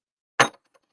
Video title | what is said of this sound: Bills @ Dolphins Live Play by Play and Watch Party | It's actually metal. It's not plastic crap or nothing.